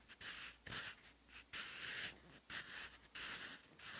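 A wooden pencil with a graphite tip writes handwriting on a cream textured notebook page. Steady, bright scratching strokes come in short bursts separated by brief quiet pauses, with almost no low end.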